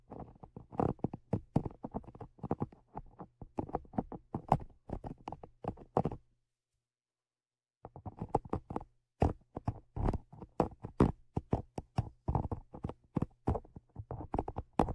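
Dark tweezers held in the fingers tap and scratch the small hollow metal X/Y stereo microphone capsules with mesh grilles on a Zoom H5 recorder. Rapid, dry, close-up clicks and scrapes come in dense bursts with a thumpy low body and a faint low hum underneath. They stop for about a second and a half midway, then resume just as busily.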